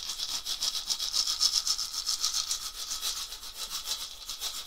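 A round, dried gourd rattle with a wooden handle, hollow and filled, is shaken by hand near the lap. It makes a steady, bright rattling hiss, almost all high-pitched with hardly any low end. The hiss swells and fades in quick, fairly even pulses, about four per second.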